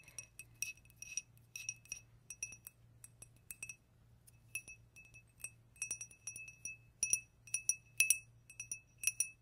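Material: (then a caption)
Glass. A tiny Pepsi glass cup, one of a set given as a birthday gift, is tapped in an irregular pattern of about thirty quick taps. Each tap makes a bright, high, glassy clink that dies away almost at once, with a faint low hum underneath.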